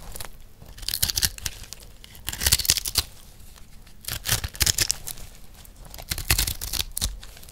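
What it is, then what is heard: Dry soap block scraped with a knife. A metal knife blade scrapes a rectangular, solid, multicolored dry recycled soap block held in one hand. The sound comes as bursts of dry, bright scraping and crumbling, in about four clusters with quieter gaps between them.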